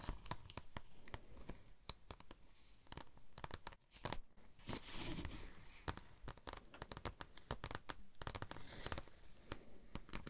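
A thin, flexible red holographic vinyl sheet with an embossed tread pattern is held in both hands, bent, and scratched or tapped with long nails. Quick, dry clicks and crackly scratches come in irregular bursts, with a brief brighter crinkling swish near the middle. The sound is quiet and close, with sharp, bright edges.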